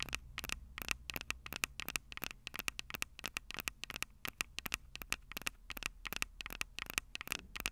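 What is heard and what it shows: Long purple nails rapidly scratch and tap the metal microphone capsules of a Tascam DR-05 recorder. The result is a dense run of sharp, dry, bright clicks with a faint tonal ring near 2.6 kHz, over a quiet low hum.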